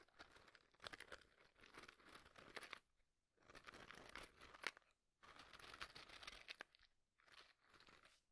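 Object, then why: Cardboard matchbox tray filled with wooden matches. A small white cardboard matchbox tray filled with wooden matches is tapped and scratched on its sides by fingertips and nails, which also rub across the matches. Dry, crinkly scratching and crunchy rubbing come in bursts of a second or two, with short quiet gaps and occasional sharper clicks. The sound is bright and light, with little low end.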